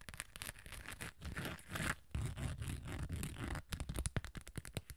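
Long acrylic nails scratch the rough glitter surface of a small hollow hard cosmetic case, covered in gold glitter with a beige top. The result is a dry, crackly scraping with a hollow low thud under it, broken into quick strokes that become sharp, rapid ticking scratches toward the end.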